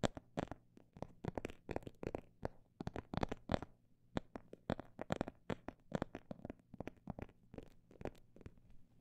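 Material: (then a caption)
Faux leather. Fingers tap rapidly and irregularly on a phone bag made of imitation snake skin, producing dense clusters of short, dry, papery clicks with no ring after each hit. The taps shift between quicker bursts and slightly slower runs over a faint, steady low hum.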